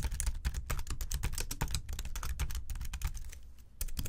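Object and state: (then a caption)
Plastic keyboard keys. Both hands type quickly with their fingertips on the plastic keys of a slim white keyboard resting on a desk. A dense, rapid run of short, dry clicks carries deep, soft thumps beneath bright key-top ticks. The typing eases briefly near the end, then resumes with a few more quick taps.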